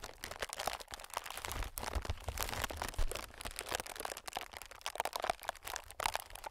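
Fingertips of both hands tap and scratch on a clear, inflated plastic-film air packing pillow. The result is a dense run of crinkly, crackling taps and scratchy rustles with a bright, papery edge over soft low thumps, staying fairly quiet and steady throughout.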